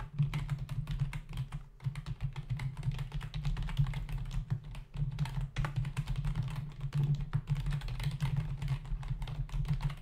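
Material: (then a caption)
Plastic. Fingertips of both hands rapidly type on a black plastic membrane desktop keyboard with hollow key caps. A steady stream of quick, short, dull clicks rides over a constant low hum, with a brief pause near the middle.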